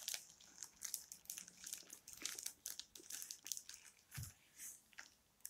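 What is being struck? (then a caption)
Hardcover book with worn paper dust jacket. Long red-painted nails scratch and tap the worn paper dust jacket of a closed old hardcover book, about 20 cm tall and solid. The sound is a quiet run of dry, bright crinkling scrapes and quick ticks that come in short bursts, with one duller, fuller tap near the end.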